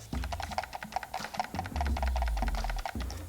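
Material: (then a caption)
Plastic. An all-plastic HyperX Pulsefire Dart wireless gaming mouse is shaken, giving a quick, irregular run of light clicking rattles about four per second. The rattle comes from the slightly loose, wobbling scroll wheel, though the build is still judged fairly solid overall.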